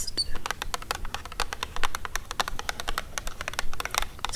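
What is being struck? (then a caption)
Cardboard box. Long acrylic nails tap rapidly and irregularly on the faces of a hexagonal printed cardboard Vegetarian Haggis gift box, hollow with the tin inside, standing on a fluffy rug. The taps are quick, dry and clicky with almost no ring, over a low background rumble.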